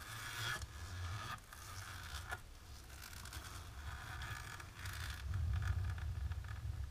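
Long natural pink nails on both hands scratch and rub a flat, dark, embossed plastic sheet. They make a steady run of dry, rasping scrapes with a bright, gritty texture over a low rumble. The strokes come in quick, uneven bursts.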